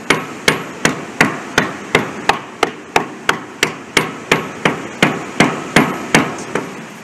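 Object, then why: Concrete bridge deck. A small hammer, held by a kneeling worker, taps repeatedly on solid concrete of a bridge deck next to a spalled pothole to sound the concrete. About twenty sharp, evenly paced taps are heard, each a bright, short click that dies away quickly. The concrete gives a solid sound.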